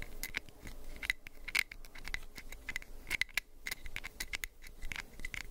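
A small orange plastic prescription pill bottle with a white cap is held close to the mic while fingernails scratch its cap and sides. The result is a dense run of quick, dry scratches and bright, sharp ticks with a faint low rumble underneath.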